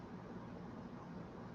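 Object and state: Nothing is struck.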